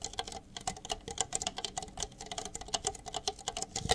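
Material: Plastic.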